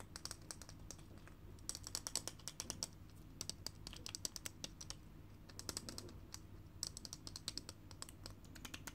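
Long fingernails tap fast on a small, full, sealed tin can of peanuts with a paper label, held in one hand. Dozens of quick, bright, dry clicks come in uneven bursts, each dying out almost at once, over a faint steady low hum.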